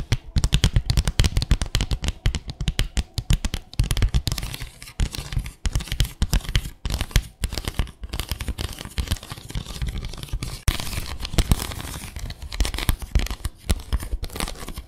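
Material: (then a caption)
Bamboo. Long acrylic nails scratch and tap rapidly across the slats of a small, flat bamboo slat placemat with fabric edging. The result is a dense stream of dry clicks and scratchy rasps with a low, hollow thump beneath. Each hit dies away almost instantly.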